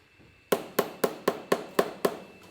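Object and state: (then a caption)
One-year-aged cheese wheel. A one-year-aged cheese wheel is tapped seven times in quick succession, to compare its sound against older wheels. Each tap is a short, dull knock centered around 400 Hz that dies away almost immediately, the normal sound for a wheel of this age.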